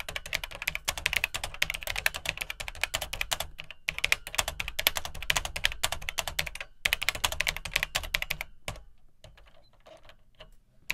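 Fingertips type rapidly on the dark plastic keycaps of an Atari 800XL home computer, whose keyboard sits in a hollow plastic case. Dense, bright, clicky key taps with a light low thud run in steady bursts, pausing briefly around 4 and 7 seconds. The typing stops near 9 seconds, leaving only a few faint taps to the end.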